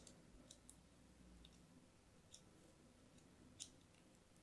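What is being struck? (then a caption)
Solid soap bar scraped by a thin metal blade. A thin metal blade scratches lines into the surface of a pink and white striped solid soap bar held in hand. Quiet, soft scraping is punctuated by a handful of sharp, bright clicks and ticks as the blade catches, over a faint low rumble.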